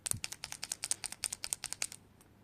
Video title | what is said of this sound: 4 -ème pack Tooli-art le pack grays | vous entendez parfaitement que je les secoue avant